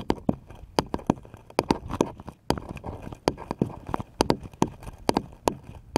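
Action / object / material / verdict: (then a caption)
tap / small wooden paddle / wood / none. A small, light, solid wooden paddle-shaped piece is held upright and tapped with the fingertips. It gives a quick, uneven run of dry, hollow knocks with a woody mid tone, each dying away almost at once.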